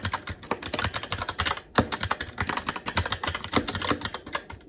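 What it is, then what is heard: Mechanical keyboard being typed on. Fingertips of both hands type continuously on a SteelSeries Apex 7 TKL mechanical keyboard with red linear switches and black plastic keycaps on an aluminum plate. Rapid, uneven key taps sound as short, dry clacks with a bright top and a soft low thud, each dying away almost instantly. A brief pause near the middle is followed by a sharper tap before the steady typing resumes.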